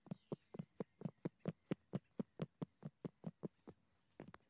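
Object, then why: Dry weathered tree log. Gloved fingertips tap a large, solid fallen tree trunk of dry, grey, weathered and cracked wood outdoors. There are about nineteen short, dull, hollow knocks in a steady but slightly uneven rhythm. Each knock is a low thud around 190 Hz that dies away at once, with a quick cluster of taps at the end.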